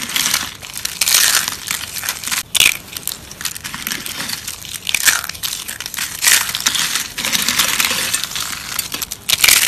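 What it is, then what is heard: Dry soap curls crushed by hand. A hand with long pink nails squeezes and crushes dried brown soap curls in a plate. The result is a continuous, dense, bright crackling crunch with brief louder bursts throughout and almost no low end.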